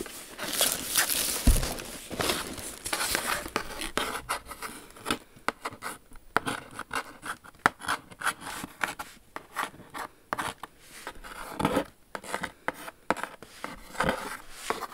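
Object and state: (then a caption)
Cardboard shoe box. Long acrylic nails scratch and tap the lid of a large, rigid, pale pink Jimmy Choo cardboard shoe box with a textured matte surface. The box sounds hollow. Dense, bright scraping at the start gives way to many short, dry taps with almost no ring.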